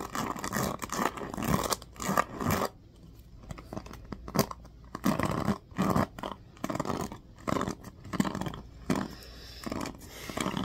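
Fingers flick and scratch along the teal-tipped pins of a black plastic oval paddle hairbrush. Dense bursts of dry, scratchy clicking and rustling come in uneven clusters, with quieter, sparser stretches between them. The sound is close and crisp, with a low body and a faint bright edge.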